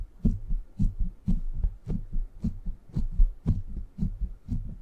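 Fingertips scratch and tap the hollow rounded steel mesh head of a silver microphone's grille. The result is a steady run of deep, muffled thumps falling in close pairs, like a heartbeat, with a soft scratchy brush over each one and almost nothing in the high range.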